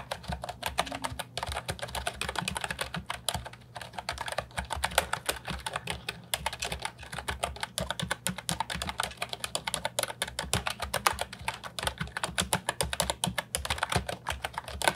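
An Ajazz 308I brown and white plastic retro mechanical keyboard with round keycaps and a hollow body, resting on a wooden desk, is typed on continuously with the fingertips. Dense, rapid, bright clicks and clacks with very short decay follow one another over a faint steady low hum.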